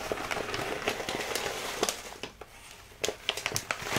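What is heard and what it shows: A full plastic bag of rolled oats is held in both hands and squeezed and crinkled, giving crisp, bright crackling bursts at an uneven pace. The crackles pause briefly in a quieter stretch before picking up again near the end.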